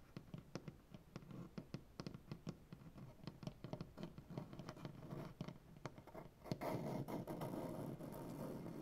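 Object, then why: Wooden butcher-block tabletop. Both hands scratch and scrape a solid light-wood butcher-block tabletop with dark-painted nails, producing quick, irregular dry clicks and scratches over a soft low rustle. After about six and a half seconds the sound thickens into louder, continuous brushy scraping with bright, crackly detail.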